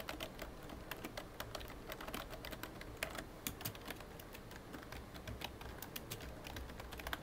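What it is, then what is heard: Plastic computer keyboard. Fingertips tap the keys of a full-size, hollow black plastic computer keyboard in dense, steady typing. Each short, bright click dies away almost instantly over a low, constant background hum.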